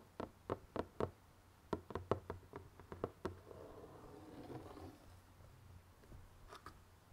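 Fingertips tap and knock along the top edge and sides of the lid of a closed, hollow, printed cardboard jigsaw puzzle box, giving 15 short, dry, hollow knocks with a mid-range body and almost no ring. A quick run of taps fills the first three seconds, then a soft rustling scrape follows before a final pair of taps near the end.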